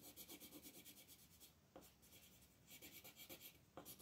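A green wooden colored pencil is rubbed in small, quick shading strokes near the top right of a flat, thin paper coloring book page lying on a table. The strokes make a soft, bright, raspy scratching that comes in rhythmic runs. There is a quieter pause in the middle before the shading picks up again.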